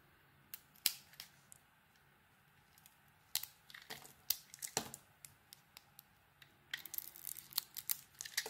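A utility knife blade cuts and scrapes a solid bar of soap with an orange dotted coating over a translucent core. Quiet, bright, crisp scraping clicks come in short bursts with gaps, growing into a quicker flurry of shaving sounds near the end.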